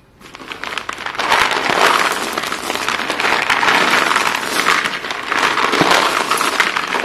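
Bare hands dig into a large heap of short, solid white chalk sticks on a blue surface, scooping up handfuls and pouring them back onto the pile. A dense, continuous clatter and crunch of chalk pieces knocking together rises after a quiet start, with bright, crackly detail that swells and eases as each handful falls.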